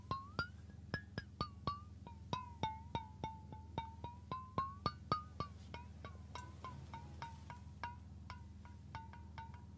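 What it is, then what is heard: Stainless steel water bottle. A stainless steel water bottle is held sideways while fingertips and nails tap its body and flat metal base, about 33 quick, unevenly spaced taps in a loose rhythm. Each tap gives a short, bell-like metallic ping around 1 kHz with bright overtones, the pitch shifting slightly between taps, over a steady low hum.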